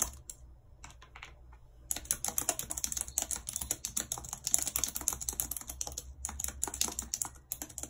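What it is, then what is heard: Plastic computer keyboard being typed on. Long red acrylic nails type and tap on a full-size white plastic computer keyboard with a numpad and hollow keys, lying on a world map. Sparse, quiet taps in the first two seconds give way to a dense, steady stream of sharp, bright clicks that die away almost instantly.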